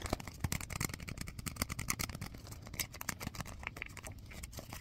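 A small folded piece of white paper is rubbed and crinkled between fingertips close to the microphone. Dense, rapid crackles and soft rustles run continuously, with bright, crisp edges over a low, muffled handling rumble.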